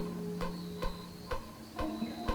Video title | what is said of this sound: Australia's Boxing Kangaroos - Dawn to Dusk 106+107 | Sounds hollow. That means there's something in there.